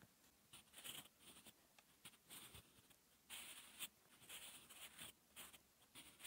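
A wooden graphite pencil scratches dense handwriting strokes onto a flat sheet of lined, textured paper, shown in close-up. The result is a quiet, dry, bright scratching in short bursts of strokes, with almost no low end and no ring after each stroke.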